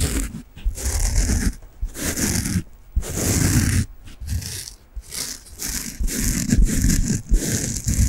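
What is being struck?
Soft foam bath sponge.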